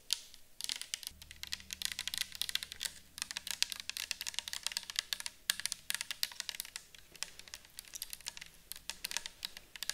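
A round, clear plastic bottle with a white cap, partly filled with orange liquid, is held and tilted while long acrylic nails tap and scratch it. Rapid, dense, crisp clicks and scratches fill the clip, mostly high and bright with very short decay, over a faint low hum.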